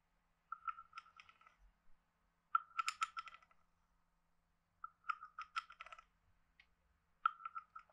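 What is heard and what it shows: A wooden stick is scraped across the ridged back of a hand-sized, hollow, carved wooden frog guiro. It plays in four quiet bursts of rapid, dry, ratcheting clicks with a hollow woody tone near 1.3 kHz and bright, brittle overtones. Short silent pauses fall between the strokes.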